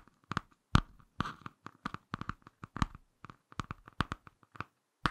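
Fingertips and short nails scratch and tap the laminated cardboard cover of a small, closed, solid Ladybird "Picture Dictionary" hardcover book, first on the back cover and then the front. A quick, irregular series of short, dry taps and scratchy clicks is heard, each with a dull low thump and a midrange tick that dies away almost at once.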